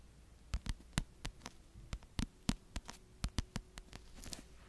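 Long yellow-painted nails tap slowly, about seventeen separate taps, on the pink-and-white printed cardboard cover of a paperback book held upright beside the mic, with some scratching on the cover. Each tap is a short, dry click with a soft low thump that dies away almost instantly, over a faint steady hum. A brief brushy scratch rises near the end.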